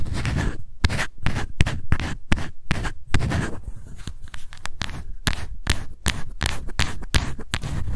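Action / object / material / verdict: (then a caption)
scrape / small plastic powder jar / plastic / none. Long white nails scratch the lid and label of a small, light-blue, round plastic Innisfree No-Sebum Mineral Powder jar held in both hands. The result is a steady run of quick, dry scratching strokes, each with a crisp, bright edge over a soft low rumble.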